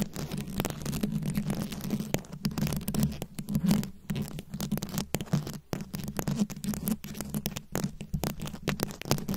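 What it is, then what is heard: Rhinestone-covered microphone. Long nail tips tap and scratch quickly across a rhinestone-studded microphone head. The result is a dense, continuous patter of close crackling scrapes with a strong low hum around 150 Hz and little high content.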